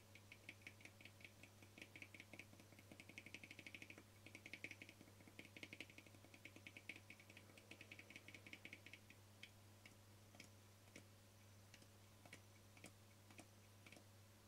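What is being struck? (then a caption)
Small frosted plastic lid. Fingernails tap rapidly on a small, round, translucent frosted plastic lid held edge-on. The result is a dense stream of quiet, sharp clicks with a bright, high tick, over a steady low hum. The tapping is busiest early on and thins to sparser taps after about nine seconds.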